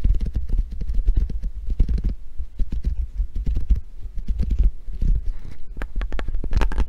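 A small handheld grip trainer with ridged pink foam handles and a chrome steel coil spring, held in both hands, is tapped and scratched with long painted nails and squeezed. The result is a steady stream of rapid, dull, muffled thumps with a deep low rumble, broken by occasional brighter clicks and scratchy ticks.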